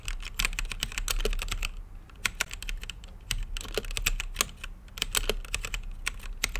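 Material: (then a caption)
Plastic. Fingertips type rapidly on an RGB-lit mechanical keyboard with plastic keycaps and a clear acrylic case. Each key press gives a short, sharp, bright clack over a low thump, with almost no ring, in a steady flurry that briefly slows around two and three seconds before picking up again.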